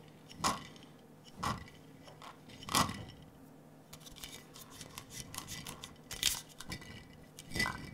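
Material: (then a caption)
Glass. A large clear glass jar with a metal screw lid, partly filled with small blue and clear glass marbles, is held in both hands, tilted and shaken so the marbles roll and clink against the glass. Bright, short clinks and rattles ring out in a few louder bursts, with quieter rolling chatter between them.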